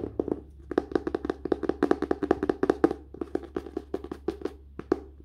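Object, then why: Book cover. Fingers tap quickly on a book's paper and cover, producing about 32 short, dry, hollow knocks in an uneven rhythm. Each tap is midrange with a quick bright click and dies almost instantly, over a faint steady low hum.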